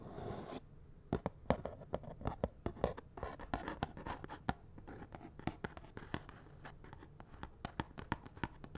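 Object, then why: Small cardboard box of latex gloves. A fingernail scratches and taps on the surface of a small, hollow cardboard box of latex gloves with the gloves inside. A brief soft scratching rustle gives way to a long run of sharp, dry clicks and scrapes at irregular intervals, each dying away almost instantly, with a faint hollow low body.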